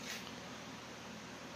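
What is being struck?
Nothing is struck.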